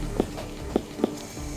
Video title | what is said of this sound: Dog's Shocking Injury Horrifies Vet - Bondi Vet | when we can flick it and it sounds like a watermelon means the pressure is enough